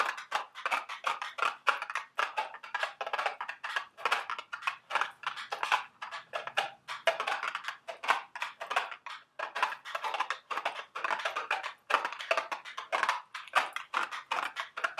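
A small, hollow, printed milk-carton-shaped cardboard box of Dubble Bubble gum Easter eggs, held in the hands, is tapped with long sharp acrylic nails. It produces rapid bursts of dry, clicky taps that die away almost instantly. The taps center on a papery mid-range tone around 1 kHz, with no low end.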